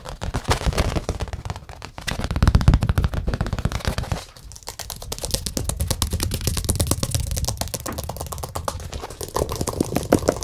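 A large rectangular acrylic-painted stretched canvas with a hollow back, painted with a Buddha and a yellow moon, is held close and tapped quickly on its front with the fingertips. The result is a dense, continuous stream of short, dry, drum-like taps, mostly low and boomy, with a brief lull around four seconds.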